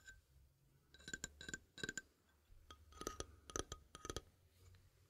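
A small rainbow toy xylophone with painted metal bars on a wooden frame is held upright in both hands while fingertips and nails tap and flick the bars. Short, bright, ringing clinks come in quick clusters with brief pauses, each dying away almost at once over a faint low hum.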